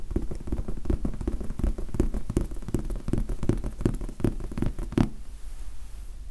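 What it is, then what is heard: Foam sponge die. Fast fingertip tapping on the faces of a large red foam sponge die gives a dense run of soft, low, muffled taps with almost no ring. The tapping continues for about five seconds and then stops, leaving faint quiet noise.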